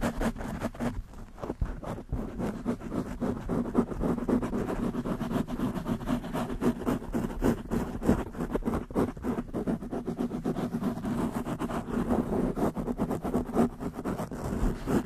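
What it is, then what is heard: Foam microphone windscreen being scratched. Long nails on both hands quickly scratch the black foam windscreen of a desktop microphone. The result is a dense, continuous, rapid scratching and rustling, heavy in the low and low-mid range with a steady hum around 230 Hz and very little high end, lasting about 15 seconds.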